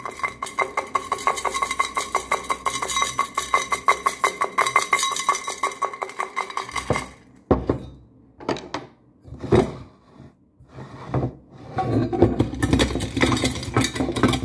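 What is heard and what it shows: A medium-sized, hollow, pewter-like metal teapot in Middle Eastern ewer style, with a handle, spout and decorative band, is held in the hands and tapped rapidly with the fingertips and nails on its body and base. For about seven seconds the taps run in a dense, fast patter of short, bright metallic clicks over a steady hollow ring. The tapping then breaks into scattered bursts and pauses before building back into quick, ringing taps near the end.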